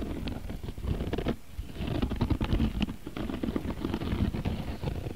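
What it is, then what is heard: Woven cotton rope bag. Fingertips and nails scratch and tap the woven surface of a medium-size round, flat bag made of coiled beige cotton rope with a rope strap. The sound is a dense, muffled patter of dry scratches and short taps, mostly low and soft with little brightness and almost no ring. It briefly quiets before picking back up.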